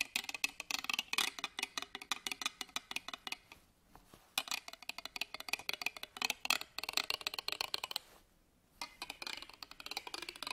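A black pen scratches along the ribbed metal clasp frame of an embroidered fabric purse held upright on a table. The result is rapid, bright, dry clicking ticks in quick bursts, broken by two short pauses near the 4 and 8.5 second marks. Each click stops almost at once, with no ringing.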